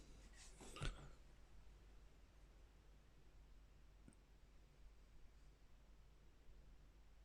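A stainless steel Fissler pot's encapsulated disc bottom is knocked to compare it with a Silit pot, expected to be of similar quality. A short, quiet, dull knock with a low thud and a brief bright click dies away almost at once. The rest is faint low background hum.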